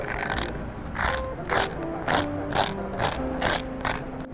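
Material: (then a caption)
Bread. Grilled toast is bitten close to a microphone, giving a series of dry, bright crackling crunches over soft background music. The toast is very dry and crispy.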